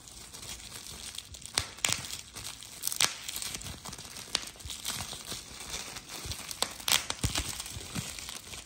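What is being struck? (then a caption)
Plastic bubble wrap. A hand-held sheet of clear plastic bubble wrap with air-filled bubbles is squeezed between thumb and fingers. Sharp, bright pops are heard at uneven intervals over continuous crisp crinkling of the plastic, with most of the sound in the high range.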